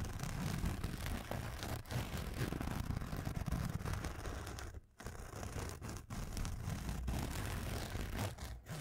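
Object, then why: Nylon fabric pencil case. A black nylon fabric pencil case held in the hands is scratched with fingernails, making a steady, dense scratching rustle with a heavy low-end rumble and little bright content. The scratching runs almost continuously, with brief breaks near 1.8, 4.9, 6 and 8.6 seconds.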